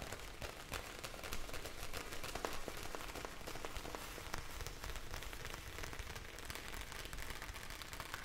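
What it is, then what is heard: Plastic bag of gel beads. A hand-sized clear plastic bag full of blue gel beads is tilted and shaken so the beads shift, and tapped with long nails. The result is a steady, rain-like patter of many small, quick, crisp ticks over a soft low rumble, with no single tap standing out.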